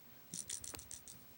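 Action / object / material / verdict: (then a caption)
tap / plastic powder compact with a small card inside / plastic / loose. A plastic powder compact is tapped against a sponge, and a loose SIM card stuck in the bottom of it, found while cleaning, rattles inside. Five quick, bright, high-pitched clicking rattles are heard, each dying away almost at once. The rattle is not normal for the compact and comes from the trapped SIM card.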